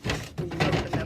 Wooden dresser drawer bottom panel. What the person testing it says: las partes inferiores de cajones son muy sueltos y golpeando alrededor